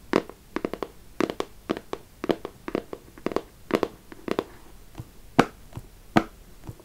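Long acrylic nails tap and scratch a small, closed, hollow beige printed cardboard perfume box (212 VIP Rose). About twenty dry, hollow taps land in quick clusters, with a papery mid-range knock and bright clicky edges. Each tap dies away almost instantly, with faint scratching between them.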